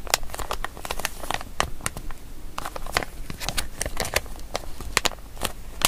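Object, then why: Small plastic zip-lock bag. Fingertips and long nails crinkle, rub and open and close the zip seal of a small, empty, printed plastic zip-lock bag with a grey cat picture, held in both hands. Sharp, bright crackles and quick clicks sound in irregular bursts throughout, each dying away almost instantly over a faint low background hum.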